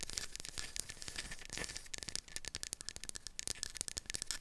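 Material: Wood.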